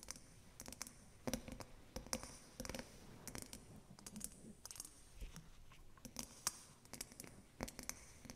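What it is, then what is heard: Water-filled glass snow globe. Long acrylic nails tap a small, round, clear glass snow globe filled with water, with an angel figurine inside and a white base, held in both hands. The result is a quiet series of quick, irregular, bright clicking taps with almost no ring, separated by brief soft scratchy pauses.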